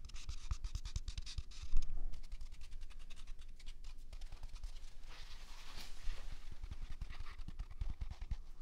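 A single large, soft, hollow-cored white paper toilet roll is held in one hand beside a binaural mic and scratched with the fingertips and nails of the other hand. It makes a dense, rapid run of dry, crackly scratching with bright papery hiss over soft low thumps. A brief louder rub comes near the two-second mark.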